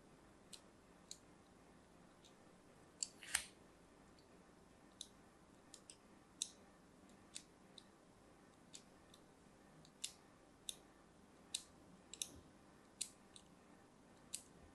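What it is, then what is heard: Bar of soap being scored with a blade. A thin metal blade scores diagonal lines across a palm-sized, solid, orange-and-white striped bar of soap held in one hand with long pink nails. About twenty short, crisp, bright scratching clicks sound at irregular intervals, each dying away almost at once over a faint steady hiss.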